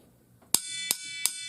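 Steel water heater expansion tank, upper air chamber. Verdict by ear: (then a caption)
Empty. A screwdriver knocks three times on the upper, air-filled part of a metal water heater expansion tank, which holds no water. Each knock gives a bright metallic ping with a long high ring. This hollow sound shows the tank is working properly.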